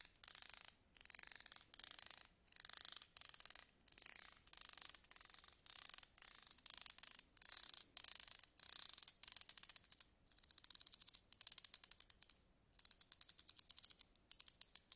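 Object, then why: Steel tweezers with ridged grips. A small tool scratches along the ridged grip of long, slim steel tweezers held upright, making rapid ratchet-like clicks. The clicks come in repeated short bursts separated by brief pauses, with a bright, high, thin tone and almost no low end.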